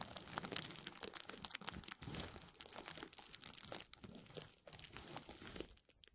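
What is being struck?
Plastic bubble wrap.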